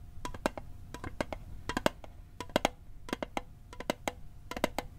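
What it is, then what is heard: Metal mint tin tapped. Fingertips tap the lid of a small, hollow, rectangular metal Altoids mint tin held over a microphone, producing 24 quick, dry ticks in uneven bursts. Each tap is a short, clicky knock with a faint metallic tone around 800 Hz that dies away almost instantly, over a low background rumble.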